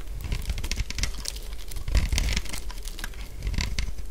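A solid purple bar of dry soap is scraped with a utility blade into thin flakes. The scraping gives a steady run of dry, crisp crackles and crunches with brief bright flecks, over a low, dull rumble.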